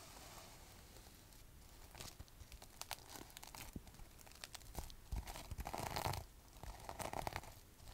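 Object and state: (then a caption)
Sequin fabric pouch. Long white acrylic nails scratch, rub and flip the sequins on a soft gold sequin-covered fabric pouch held in both hands. The result is a quiet, dense run of crisp crinkling and scraping ticks, with brighter rustling bursts in the second half.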